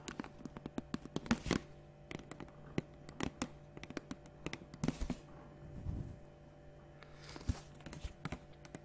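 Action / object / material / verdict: tap / plastic water bottle / plastic / none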